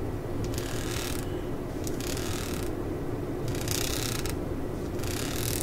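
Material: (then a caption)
Rubber. Long acrylic nails scratch and tap along the ridges of a solid, hand-sized tan ridged rubber grip on the handle of a claw hammer lying on a mat. Bursts of bright, raspy scratching come and go over a steady low rumble, with soft ticking taps blended in at an even level throughout.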